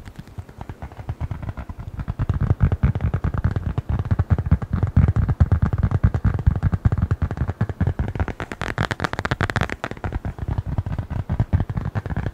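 A small, closed brown leather-covered notebook or wallet is held in both hands and tapped and scratched with the fingertips and nails. Rapid, dense, dull low thuds run throughout, with a brighter, scratchier stretch around the ninth and tenth seconds.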